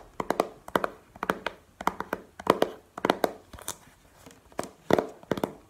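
Long painted nails tap quickly across the face and edges of a small, hollow, clear plastic video game case held in the hand. The taps are short, hollow, clicky and bright, falling in quick clusters of two to four with brief pauses between them.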